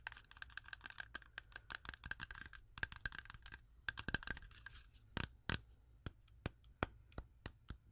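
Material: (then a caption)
Fruit. Long acrylic nails tap quickly on a solid, whole fresh red-yellow apple with a sticker on it. The result is a rapid flurry of short, sharp clicks with a faint hollow tone around 1.6 kHz, thinning out after a few seconds into slower, separate taps. Each tap dies away almost instantly.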